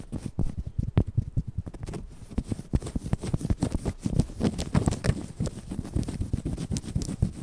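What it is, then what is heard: Plush stuffed toy, scratched and tapped. Long yellow acrylic nails scratch and tap across the soft fabric surface of a large, white, stuffed plush cushion toy with a cute face, held close in front of the mic. A rapid, uneven run of short, muffled taps and soft rustling scrapes plays throughout, each dying away almost at once. The sound is deep and dull, with only faint brightness above.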